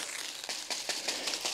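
A plastic water delivery pipe near the top of a hill is tapped repeatedly, giving a series of dry, bright, crinkly clicks that stop instantly with no ring or low resonance. The hollow, lifeless taps show the pipe is empty at that spot because the water has not yet climbed that far.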